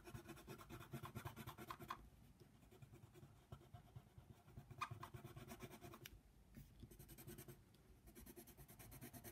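A yellow colored pencil is scratched back and forth across a flat white paper coloring book page with a giraffe drawing, lying on a table. Quiet, dense scratching strokes come in uneven bursts, with a broad, grainy hiss over a soft low rumble and a few brief sharper scrapes.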